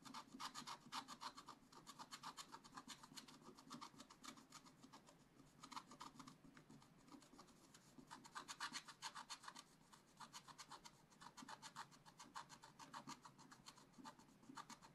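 A wooden stylus scratches quick strokes across a black-coated scratch-art page in a spiral-bound book, the sheet lying flat. It makes a steady run of dry, bright rasping scrapes, repeating in fast bursts with short pauses between groups.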